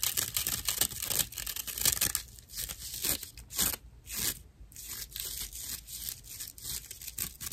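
A slice of dried natural loofah sponge with hollow fiber chambers, held upright and then flat, is scratched with long acrylic nails. The result is rough, dry, crackling scratches in quick, uneven bursts, mostly bright and hissy with little low end.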